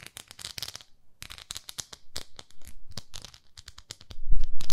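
Long nails tap and scratch across the surface of a pink plastic facial cleansing brush, a plastic pad with a handle. The result is a quick, irregular run of sharp, bright plastic clicks and crackles with brief pauses between them. Near the end it turns into louder, denser scratching with a low rumble underneath.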